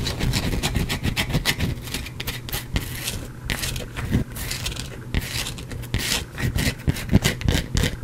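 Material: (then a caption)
Soap. A partly carved solid white bar of soap is scratched and scraped with fingernails, with crumbs falling onto the cloth beneath it. Rapid, dry, raspy strokes crackle with bright, crisp texture over a steady low hum, in short bursts that stop quickly with no ring.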